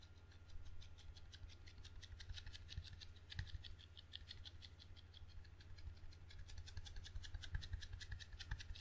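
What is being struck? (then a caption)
Table tennis paddle, rubber facing on a wooden blade. Fingertips quickly tap and scratch across the sticky red rubber facing of a table tennis paddle with a solid wooden blade, held low. A rapid, uneven patter of soft, short ticks with a bright, crackly edge sits over a steady low hum.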